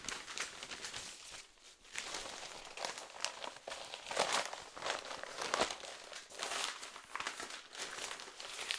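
A large, thin and light folded Nordjyske newsprint newspaper is held in both hands while its pages are flipped and rustled with the fingers. The result is a steady, bright, crinkly paper rustle with almost no low end, broken by sharper crackling bursts as pages turn and a brief quieter lull near the start.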